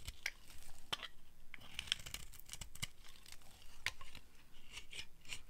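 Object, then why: Bar of soap. A solid orange dry soap bar, held in a hand with long red nails, is carved and scraped with a flat blade. The result is quiet, dry, crisp scraping with many sharp, bright clicks and short shaving rasps that end abruptly, with no ring.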